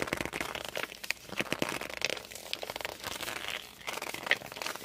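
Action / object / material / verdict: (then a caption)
scrape / glossy hardcover book / coated board / none. Fingertips and palms grip and squeak on the glossy cover of a hardcover book. Dense, bright crinkly rubbing is heard, with short squeaky chirps near 1.9 kHz and almost no low end.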